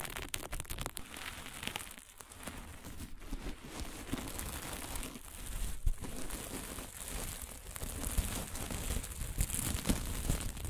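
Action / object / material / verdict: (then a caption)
scrape / plastic sequin fabric / plastic / none. Dark sequin fabric with green and blue plastic sequins is scratched flat with long nails, then picked up, bunched and crumpled in both hands. The result is a dense, continuous crinkling rustle full of tiny sharp clicks, with a bright, hissy top over a low rumble. It grows slightly louder and busier in the second half.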